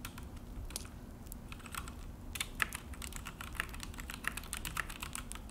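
Both hands type with their fingertips on a full-size Akko mechanical keyboard with an orange plastic case and black plastic HyperX keycaps, set on a desk. Quick, bright, dry key clicks and clacks patter in an uneven stream, with a few sharper, louder taps standing out. A low, steady rumble sits underneath.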